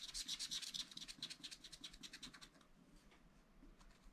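A wooden stylus scratches rapid strokes across a black coated sheet on a scratch-art paper pad, making bright, high, dry scratching sounds. The strokes come quickly and fairly unevenly, louder at first, then fading to softer, fainter scratches in the last second and a half.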